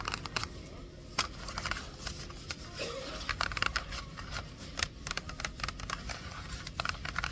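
Long acrylic nails scratch and tap the flat sides of a small, hollow, closed printed cardboard retail box held in both hands over a shopping cart as it is turned over. Many short, dry, bright clicks and scratchy rasps sit over a steady low rumble of background noise, each tap dying away almost instantly.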